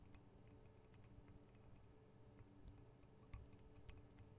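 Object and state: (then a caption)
Metal microphone capsules tapped with nails. Long acrylic nail tips tap the metal guard wings and microphone capsules of a Tascam DR-40 recorder. The result is a quiet, irregular run of light ticking taps over a deep low hum, with a few sharper, brighter clicks near the end.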